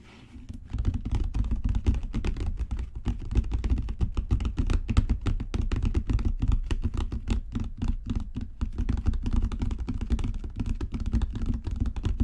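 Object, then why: Leather-covered book. Long natural fingernails tap rapidly on a solid, dark brown genuine leather book cover. The result is a dense, steady patter of dull, low thuds that stop dead, with almost no bright content, after a brief quiet start.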